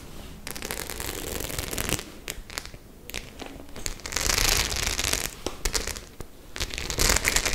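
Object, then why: Studded faux leather clutch bag. Long nails scratch and flick across the rows of studs on a white studded faux-leather clutch. A dense, irregular stream of bright clicks, ticks and scraping crackles, with louder, hissier bursts in the middle and near the end.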